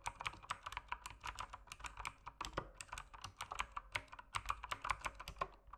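Fingertips type quickly and steadily on a mechanical keyboard with plastic keycaps, whose backlight dims near the end. Each keystroke is a short, crisp clack with bright highs and almost no ring, forming a continuous patter of distinct taps.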